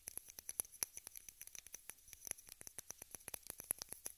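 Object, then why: Small plastic case. Long red nails tap and scratch a small rectangular pink plastic case held upright. About thirty quick, dry clicks and light scrapes come in an uneven patter, bright and high with almost no low end. Each tap dies away instantly at a soft, quiet level.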